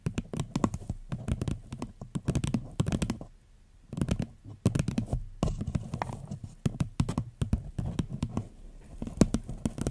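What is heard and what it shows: Long nails tap quickly on the sides of an empty floral paper cup turned upside down over the mic. The result is a rapid stream of short, hollow, low-pitched taps that stop dead, with brief pauses between bursts.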